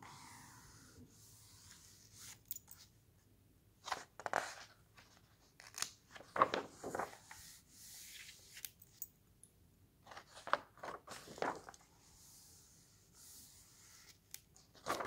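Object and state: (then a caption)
Paper book pages being rubbed and turned. A flat hand rubs across the thin printed paper pages of an open hardcover book, and the fingers turn them. Soft, dry rustles and brushing swishes come in irregular bursts, with a few sharper crisp flicks as pages flip. The whole clip stays quiet and close, with little low end.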